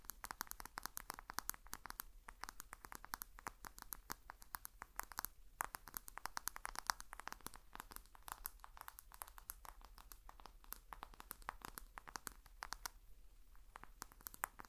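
A black Samsung smartphone with a glass screen and white plastic frame is tapped and scratched with long fingernails on the screen and back. Dense, quick clicks and scrapes follow one another for the whole clip, each bright and dry with almost no ring, over a faint low hum. The tapping is close and quiet, with a brief lull near the end before a few more clicks.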